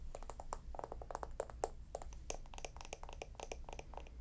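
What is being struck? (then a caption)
Small wooden jar with lid. A small, hollow, round wooden jar with a lid, held in both hands, is tapped rapidly with long nails on its side and lid. The result is a dense run of short, dry clicks with a hollow woody tone and bright edges, over a steady low hum.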